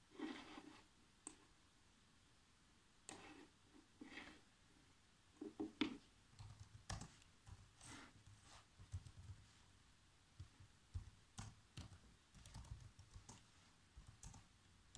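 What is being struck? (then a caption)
Plastic laptop keyboard. Fingertips press the black plastic keys of a laptop keyboard, giving quiet, short typing taps in irregular bursts with brief pauses between them. Each tap is a dry click with a dull low thump and little ring, some with a brighter edge.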